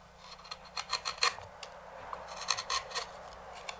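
A wooden-handled knife scrapes the rim of a large, hollow, empty walnut bowl resting on a stopped lathe. Short, dry rasping strokes come in uneven bursts, bright and hissy with a faint high ring on the louder scrapes, against quiet background noise.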